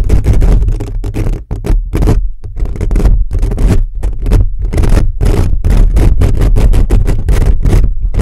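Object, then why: Metal mesh microphone grille. Fingertips scratch and rub fast and hard across a hollow black metal mesh microphone grille. The result is a dense, loud, continuous stream of scraping bursts dominated by a deep, boomy low rumble, with only brief dips between strokes.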